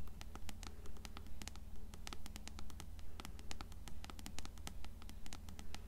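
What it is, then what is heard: Paperback book cover tapped and scratched. Long nails scratch and tap the cover of an upright, closed paperback copy of Coraline. Quick, fairly regular clicks form a steady pattern over a low, constant hum, while brighter taps rise above the softer scratching.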